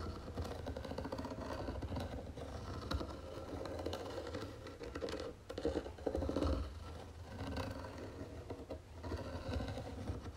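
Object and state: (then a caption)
Wooden jewelry box scratched with fingernails. Long nails scratch across the lid of a round wooden jewelry box with gold trim on its legs. The result is a steady, dense scraping and rustling texture, heavy in the low end, that runs for about ten seconds and swells louder briefly around the middle.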